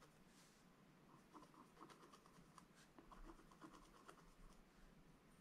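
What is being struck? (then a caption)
Scratch-art coated paper page with wooden stylus. A wooden stylus scratches a Christmas tree design into a black-coated scratch-art book page lying flat, using quick strokes. A series of short, quiet, dry scratching strokes rasps over a soft, steady hiss, with faint brighter scrapes between them.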